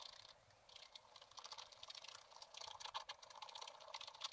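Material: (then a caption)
Coated paper. A wooden stylus scratches the lower area of a black-coated scratch-art paper page lying flat in a spiral book, in repeated short strokes. The result is a quiet, dry, bright scratching made of quick rasping bursts with almost no low end.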